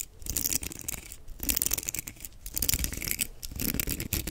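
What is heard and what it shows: Fingertips scratch and flick across the bristles of a black plastic paddle hairbrush with a perforated back. The result is dense, bright, crackly bristle rasping that swells and fades in uneven waves, with soft low thuds underneath.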